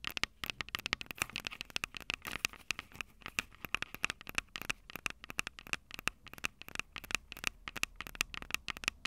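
Long purple nails rapidly tap and scratch the heads of the two small metal mic capsules on a small plastic-bodied Tascam DR-05 handheld recorder. The result is a dense, quiet stream of sharp, bright clicks and scratchy crackles, each dying out almost instantly, with a recurring ringing tone around 2.6 kHz and very little low end.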